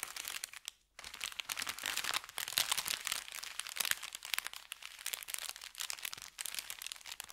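An empty, flat, thin kraft paper bakery bag is pressed and rubbed by the fingertips of both hands, crinkling it. Dense, bright, crackly rustling runs almost continuously, broken by a brief silence just before the first second.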